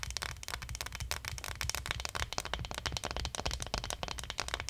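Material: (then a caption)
Plastic. Long nails scratch and tap along the spine and shoulders on the back of a small, likely hollow plastic acupuncture model doll. The result is a dense, steady run of crisp, bright clicks and raspy scratches over a soft low rumble.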